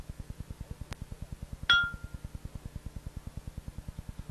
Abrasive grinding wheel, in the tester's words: a ringing sound will indicate that the wheel is sound it has no cracks